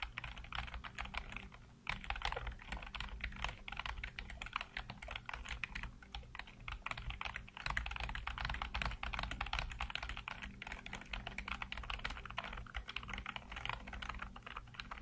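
Fingertips type rapidly on a black plastic backlit computer keyboard, producing a steady, dense stream of short, crisp key clicks with a brief pause just before the two-second mark. A faint low hum sits steadily beneath the clicking throughout.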